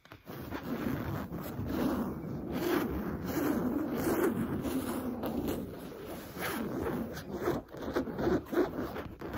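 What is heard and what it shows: A soft, stuffed cushion with a smooth cream cotton canvas cover printed with oranges is scratched quickly with long nails. The result is a continuous dry, raspy scratching with a low-mid body. Brief dips in the rhythm separate short bursts toward the end.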